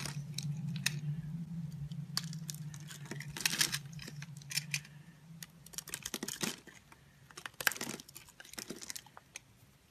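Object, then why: Bar of soap scored and shaved with a metal blade. A solid green bar of soap held in the palm is scored in a grid by a metal blade, which then shaves off small cubes. Crisp, bright scraping and crackling bursts come in quick clusters, over a low steady hum that fades after the first half.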